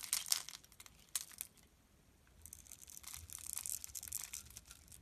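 A solid pink rectangular bar of soap held in the hand is scored and scraped into small cubes with a metal utility blade. Dry, bright scraping and crackling come in quick bursts at first, fade to near silence, then return as a longer stretch of steady, brittle scraping.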